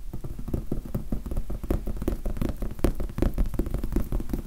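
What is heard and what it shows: Fast fingertip tapping on the faces of a large red foam sponge die makes a rapid, uneven stream of soft, dull thuds. The taps are muffled and low, with almost no high end and very little ring, blurring into a continuous patter.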